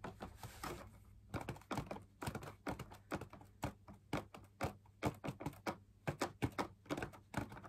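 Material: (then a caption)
Fabric. Fingertips tap the wall of a hollow, perforated, fabric-laminated drum lamp shade in quick, uneven bursts. Each tap is a soft, dull thunk that dies away almost at once, over a faint steady low hum.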